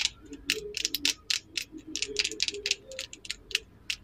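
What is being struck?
Wooden lip liner pencil tapped with fingernails.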